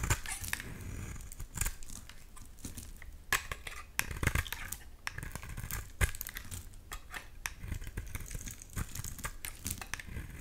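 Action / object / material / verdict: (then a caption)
scrape / bar of soap scraped with a knife blade / soap / none. A utility knife blade scrapes flakes off a solid light green oval bar soap, making dense, crinkly scraping and shaving sounds. Sharp, brief transients fall in rapid succession over a soft low rumble. Brighter strokes stand out now and then.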